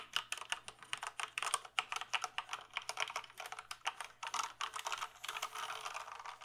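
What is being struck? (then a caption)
Plastic mechanical computer keyboard. Fingertips tap and type on the keys of a full-size black plastic mechanical keyboard with a hollow case. A quick, uneven run of sharp, bright clicks and clacks fades almost instantly after each strike. The keystrokes blur into a denser patter toward the end, over a faint steady low hum.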